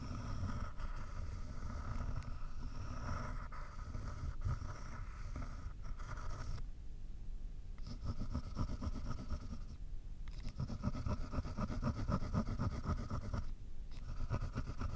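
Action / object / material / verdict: scrape / ballpoint pen on paper sheet over a layered board / paper / none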